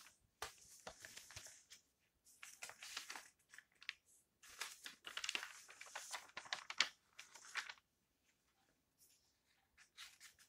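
An open history magazine with glossy paper pages is held in both hands while the fingers flip and rustle the pages. Bright, crisp crinkling and papery swishes come in several bursts separated by short silences, with no low end. The rustling fades to near quiet before a final soft flutter.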